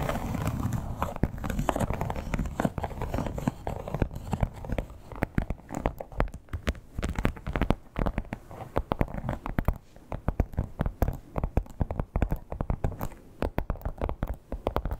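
Long black-tipped nails quickly scratch the raised scale texture of a flat red crocodile-embossed leather clutch lying on a bed. The result is a dense, steady run of dry crackling and crinkling scratches made of many fast, short clicks with no ring. The sound is dull and low-heavy, with little bright top.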